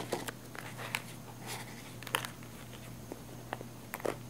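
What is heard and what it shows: Long nails scratch the fabric of a small black padded nylon camera case held close to the mic. About ten short, dry, crackly scrapes stand out, with bright rasping edges, over a steady low hum and soft rustling in between.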